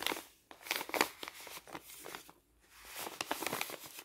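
An empty, folded brown kraft paper envelope with a white label is held in the hand and bent and crinkled with the fingers. Dry, bright crinkles and sharp crackles come in uneven bursts, with a brief quiet pause midway, and there is almost no low end.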